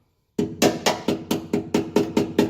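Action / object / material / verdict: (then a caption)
tap / steel truck frame struck with a small hammer / steel / rusted through. A small ball-peen hammer taps ten times on the rusted section of a Ford F-150 pickup truck's steel frame, giving dull, short knocks with a low-mid tone and little ring. The rusted-through metal is breaking through under the hammer and is pretty rough, soft throughout that area, so it must be cut out and patched.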